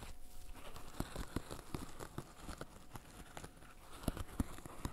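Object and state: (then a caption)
Silicone pop-it fidget toy. Fingertips in black fishnet gloves press and pop the hollow bubbles of a flat green silicone bird-shaped pop-it fidget toy. Quiet, dull pops and soft crinkly taps come in an uneven, fairly quick run. The sound is mostly low and muffled, and each pop dies away at once.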